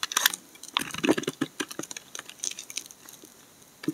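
A steel utility blade cuts and scrapes curled shavings from the edges of a solid brown laundry soap bar held in hand. Quick, dry crackling snaps and scratchy scrapes come in a dense burst during the first two seconds, then thin out to a few soft scrapes and a final sharp crack near the end.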